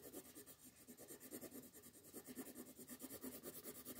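A red colored pencil shades a flat paper coloring sheet lying on a table with steady back-and-forth rubbing strokes. The result is a quiet, continuous scratchy rasp that pulses rhythmically with each stroke, with a soft papery body and a bright, hissy edge.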